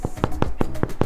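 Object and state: Baked-through bread loaf (hollow).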